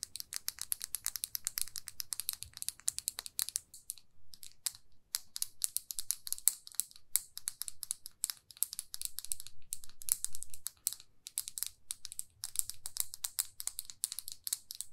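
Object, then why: Plastic lipstick tube. Fingernails tap rapidly on a small glossy red plastic lipstick tube, making a dense run of crisp, bright, dry clicks that die away almost instantly. The tapping comes in quick bursts with brief pauses, over a faint low rumble.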